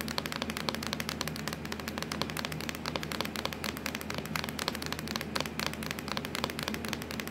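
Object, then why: Plastic laptop lid. Long acrylic nails tap and scratch rapidly across a hollow, black textured plastic laptop lid. Dense, crisp clicks with bright, high edges run steadily throughout over a low hum, each tap dying away quickly.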